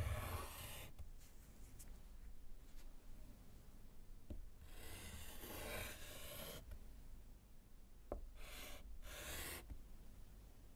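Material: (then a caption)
Slate. A gloved hand writes with orange chalk on a small solid slate chalkboard in a wooden frame. Bursts of bright, gritty scratching strokes are broken by a couple of sharp taps as the chalk meets the board, over a steady low rumble.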